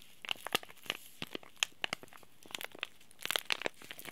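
A small, flat, green laminated plastic-and-foil Oi Ocha tea bag sachet, sealed with the tea bag inside, is held in both hands and crinkled and squeezed by the fingertips. A scattered series of sharp, bright crackles and crinkles is heard, with almost no low end and no ring after each crackle, before it falls back to near silence.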